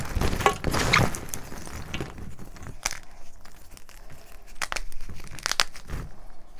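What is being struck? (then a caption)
Chunks of gym chalk in a metal bowl. Both hands squeeze, crush and rub broken chunks of blue-dyed gym chalk (magnesium carbonate), solid, dry and crumbly, into powder inside a metal bowl. Dense crunching and crumbling fills the first second, then thins into soft grainy rubbing broken by sharp crisp cracks near the three, five and five-and-a-half second marks.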